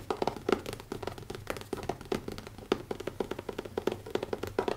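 Fingertips tap quickly on the cover of a small, closed, black leather-covered hardcover notebook with an elastic band, resting on a wooden table. The rapid, uneven stream of soft, dull taps centers around 390 Hz, with little bass, almost no brightness and virtually no ring after each hit.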